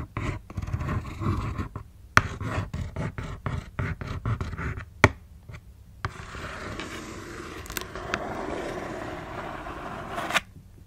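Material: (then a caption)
Cardboard. Long nails tap and scratch the side panel of a closed black cardboard shoebox. A rapid, uneven run of dull, low-heavy taps and short scratches with a few sharper clicks gives way to a steady, continuous scrape. The scrape ends on one last crisp tap.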